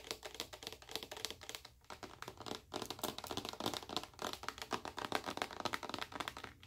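Long acrylic nails tap rapidly on a large, full, clear plastic bottle of white body moisturizer. The taps come in an uneven stream of short, bright clicks with almost no ring, and the clip stays quiet throughout.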